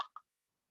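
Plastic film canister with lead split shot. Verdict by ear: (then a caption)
Half full. An old plastic Kodak film canister, filled about halfway with old lead split shot used as weight to stabilise a glue holder, is shaken. Two brief, bright rattling clicks centred around 1 kHz are heard, each dying away almost at once, followed by silence.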